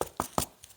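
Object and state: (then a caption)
Solid concrete post block. A normal solid concrete post block, a formwork block for a post, is tapped four times, the last tap much fainter. Each tap gives a short, dull knock that dies away almost at once. The block sounds solid, with nothing particular in the sound, unlike the hollow ring of the pre-cut section.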